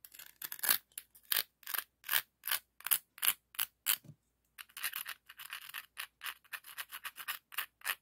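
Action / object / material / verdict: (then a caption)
scrape / scallop seashell / shell / none. A hand-sized, hollow, empty red-orange ribbed scallop shell held in the hand has its ridges scraped and rubbed with a dark, rough scallop shell. A quick series of short, bright, raspy shell-on-shell scratches follows, with a brief pause near the middle before the strokes continue faster and softer.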